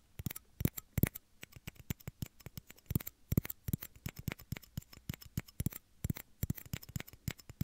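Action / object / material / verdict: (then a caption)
tap / small plastic shot glass / plastic / none. Short fingernails tap small, hollow, empty, clear plastic shot glasses held against the ears of a 3Dio microphone. The result is an irregular run of dozens of quick, dry taps, each a soft low knock topped by a brief bright click. Every tap dies away almost instantly.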